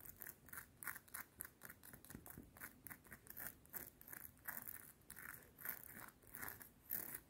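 Long painted nails tap and scratch along a small, solid, worn gold-tone metal link necklace with star-shaped links, worn at the neck near a cardigan collar. The result is a fast, uneven run of quiet, crisp metallic clicks and scrapes with bright high-frequency edges and very short decay, with possible soft fabric brushing in between.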